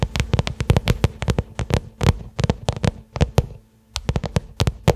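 A small, flat black pebbled-leather case or wallet lies on carpet and is tapped and scratched with the long manicured fingernails of both hands. Quick, dry clicking taps come in rapid irregular bursts, each with a soft low thump and a brief bright tick, broken by a short pause before the tapping resumes.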